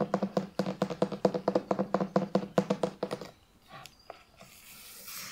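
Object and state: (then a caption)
Hardcover book, tapped and scratched. Fingertips and long nails rub along the spine and scratch the back cover of a thick, closed Narnia hardcover book with a printed cardboard cover, held upright. A quick, steady run of short, hollow tapping scratches with a low, boxy resonance lasts about three seconds. It then thins into quieter scattered scrapes and a soft, bright hiss.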